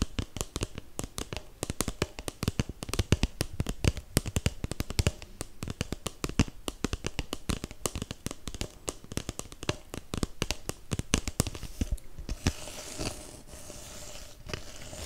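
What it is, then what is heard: Paper cup tapped and scratched. A hollow, empty red holiday paper cup is tapped and scratched with fingertips and nails, sometimes tilted toward the mic. Rapid, dry, low thumping taps run densely through most of the clip, mixed with crisp scratchy ticks. In the last few seconds the taps thin out into a softer, steady scratching rustle.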